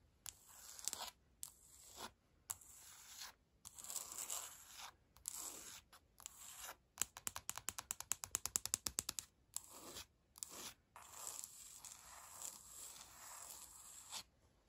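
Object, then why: Laminate wood-look floor. Long pointed nails scratch across the planks of a flat, solid laminate floor with a light wood-grain pattern. Bursts of bright, dry, hissy scraping come in short strokes separated by brief silences, with a fast run of quick, crisp scratches in the middle. The sound is almost all high-pitched, with very little low end and no ringing.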